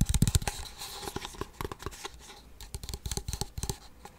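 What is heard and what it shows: Fingernails scratch and rub the sides and white bottom of a small, hollow, waxed paperboard Blue Bell ice cream cup. It makes quick, dry, papery scratches and taps with a hollow low thump and bright crackly edges. The bursts are loudest at the start, then return in lighter clusters.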